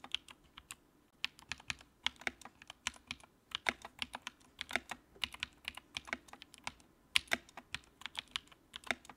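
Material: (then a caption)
Plastic. Fingertips type on the keycaps of a compact white plastic mechanical keyboard with a backlight. About 34 quick, bright clacks come in an uneven typing rhythm with brief pauses between bursts, each keystroke dry and short with almost no low end.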